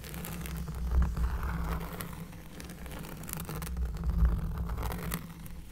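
Close-up scratching on a cork surface, heard as a continuous bassy, rumbling scrape with soft rustling texture and faint bright ticks on top. The sound swells around the one-second and four-second marks and stays low and muffled throughout.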